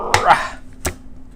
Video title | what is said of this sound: Comparing the Wolverine 720P Transfer Machine to the Newer 1080P Pro: With Scanned Results! | sounds like plastic now that back is plastic